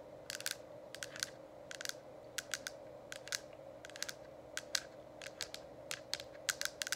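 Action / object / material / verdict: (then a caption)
tap / plastic diffuser dome cover / plastic / none. Long acrylic nails tap on a hollow, lit plastic diffuser dome cover, producing quick clusters of sharp, bright clicks that stop almost instantly. A steady low hum runs underneath throughout.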